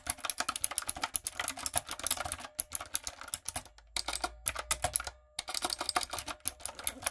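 Fingertips and long acrylic nails type rapidly on a light-up, typewriter-style plastic mechanical keyboard with round plastic keycaps. The result is a dense run of bright, sharp clicks and clacks with very short decay, broken by brief pauses near 2.6, 3.8 and 5.2 seconds.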